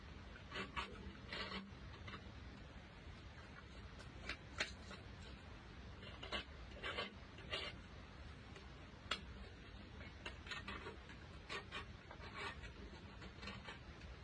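A thin, solid white chalk block held in gloved hands has its edge and surface scraped with a green-handled metal blade. Short, bright, dry scraping strokes come in quick repeated bursts over a quiet, steady low hum, each stroke stopping almost instantly with no ring.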